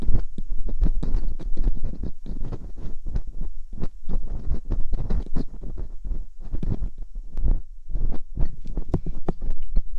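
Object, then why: Silicone ear mold of a binaural microphone scraped by a metal dental pick. Metal dental picks scrape inside the canals of silicone ear molds on a binaural microphone, producing a dense run of short, dull scratching and tapping sounds. The sounds are heavy in the low end with brief bright clicks.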